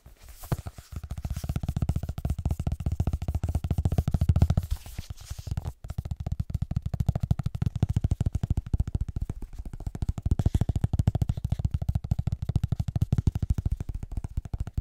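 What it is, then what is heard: Hardcover book. Fingertips and nails tap rapidly on the glossy front cover and edges of a solid, closed, illustrated hardcover paper book ("Mittelerde") held upright. The taps form a dense stream of short, dull, low thuds with almost no ring, easing off briefly around the five-second mark before continuing.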